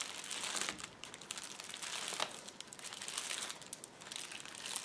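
Two hands rub and press a flat sheet of clear plastic bubble wrap on a table with their fingertips and nails, crinkling it. The sound is a steady, dense, bright crinkle with small crackling spikes. It swells and eases in waves, with almost no low end.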